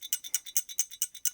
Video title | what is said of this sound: Ruger RXM: COMPLETE Disassemble and Assemble Instructions | if you hear rattling you're good to go